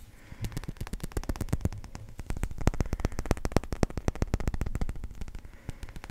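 A small yellow number 1 pool ball of solid hard resin is held in both hands and tapped and scratched with the fingertips and nails. Rapid, uneven clicks and taps come in quick bursts, each dry and short with almost no ring, over soft scratchy rustling. The taps carry a low, muted thump beneath a faint high edge.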